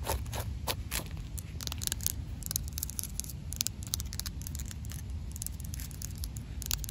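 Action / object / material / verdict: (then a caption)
tap / concrete slab tapped and scratched with fingernails / concrete / none. Long black pointed nails tap and scratch across a large, solid, rough outdoor concrete slab. Rapid, crisp clicks and gritty scraping strokes follow one another closely over a steady low rumble, with bright, dry attacks that die away almost instantly.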